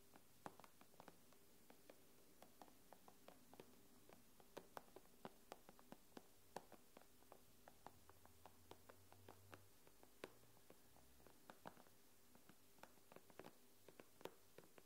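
Long nails tap the glass screen of an iPad in a quiet, irregular stream of about 35 short, sharp clicks over roughly 15 seconds. Each tap dies away almost instantly, and a faint low hum sits steadily underneath.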